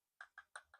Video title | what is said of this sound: DJI Mic Mini | Let's give it a tapping test. No, it's plastic.